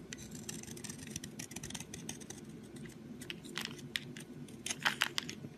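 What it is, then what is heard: Soap bar being shaved. A solid brown soap stick, held in the fingers, is shaved with a box cutter blade into curled flakes. Quick, dry, bright scraping strokes rasp over a steady low background, with the sharpest, loudest scrapes near the end.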